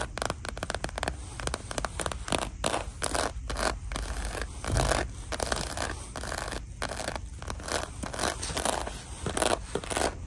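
Long dark nails scratch and tap across a small, flat red clutch with a croc-embossed faux leather surface as it lies in an open gift box. The clip is a dense run of quick, dry scratches and taps with little ring and a low rumble underneath.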